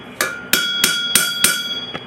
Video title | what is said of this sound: Basic armouring-planishing | which means that you're flattened up against